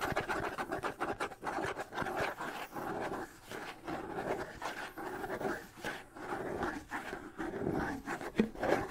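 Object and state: Wood and skin bongo drum.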